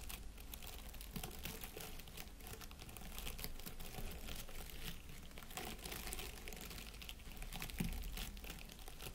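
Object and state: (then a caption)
Artificial plastic pine wreath. Fingertips scratch and rub the plastic needles of an artificial plastic pine wreath with an LED candle in its centre. The result is a steady, quiet stream of dense crinkly, rustling scratches that stay bright and papery throughout, with no clear pauses between strokes.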